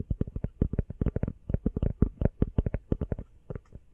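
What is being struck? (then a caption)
Rubber phone case. An empty, small, hollow teal rubber phone case, held sideways, is tapped rapidly with long fingernails. About two dozen quick, dull, low thumps come in close succession, each dying away almost instantly with a soft clicky edge.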